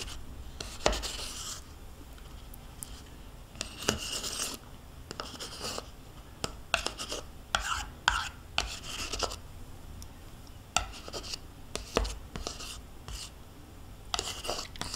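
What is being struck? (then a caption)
Plastic yogurt cup scraped with a metal spoon. A metal spoon scrapes the inner walls of a small, hollow plastic yogurt cup held in hand, nearly empty with yogurt residue left inside. Bright, rasping scrapes alternate with sharp clicks and taps as the spoon knocks against the plastic, in an irregular rhythm over a quiet background.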